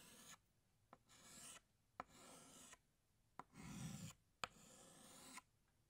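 A green chalk stick draws leaves on a flat black chalkboard in long, dry rasping strokes. Five bright, scratchy strokes alternate with pauses, and four sharp clicks mark the chalk touching down on the board between them.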